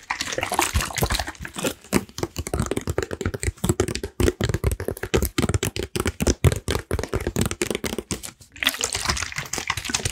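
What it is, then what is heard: Plastic water bottle. Fingertips and nails rapidly tap and squeeze a clear plastic water bottle with a red cap, partly filled with water and held in both hands. Quick, dull thuds run together with bright, crackling crinkles, which swell into denser crackling at the start and again near the end.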